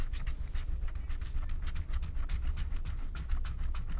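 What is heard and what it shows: A wooden stylus scratches a flat, thin, black wax-coated paper scratch-art card in short rubbing strokes, revealing the color underneath. Quick, uneven scratchy strokes come one after another, each a brief bright rasp, over a steady low rumble.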